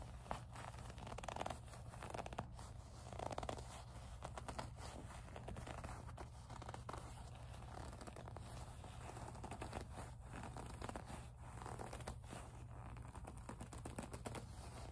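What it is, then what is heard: Leather zip pouch being rubbed and squeezed. Fingertips and long nails squeeze and rub a small, hollow, soft pink leather zip pouch. The result is a quiet, continuous run of squeaky gripping, creaks and scratchy rubbing over a steady low hum.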